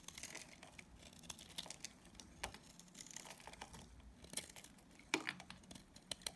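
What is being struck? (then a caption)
Bar of soap. A utility knife blade shaves and scrapes curls off the corner of a palm-sized, solid bar of dried pink and purple Dalan soap held in the hand. The result is a quiet, dry, bright scraping with crisp, crinkly tearing bursts and a few sharper snaps toward the end.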